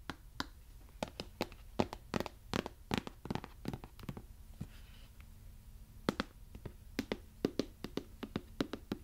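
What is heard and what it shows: Long yellow acrylic nails tap and rub on a medium-size, hollow white plastic conditioner bottle with a yellow cap. Dozens of quick, dry, clicky taps come in irregular bursts, with a lull of soft rubbing in the middle. A faint low hum sits underneath.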